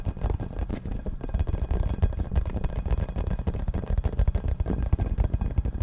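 A hollow yellow rubber or vinyl ball about 15 cm across with a printed logo is held in both hands and tapped and scratched with fingertips and nails close to the microphone. The result is a steady, rapid patter of dull, boomy thumps with almost no bright content, each tap dying away at once, blended with soft scratching.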